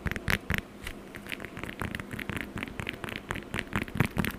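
Long acrylic nails tap and scratch the peel of a whole, solid, fresh orange held close to the mic. The result is a quick, irregular run of dry crackling taps and scrapes, with low thumps beneath bright clicks that stop almost instantly. A soft hiss sits underneath.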